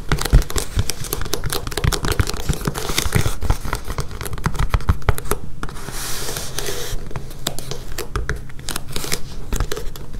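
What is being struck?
Foam rubber mat.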